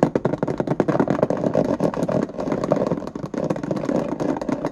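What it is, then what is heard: Plastic index card box lid. Fingernails rapidly tap and scratch across the ridges of the white ribbed plastic lid of a small hollow index card box held in both hands. The result is a dense, continuous run of quick, hollow clicking taps with a scratchy, clattering texture.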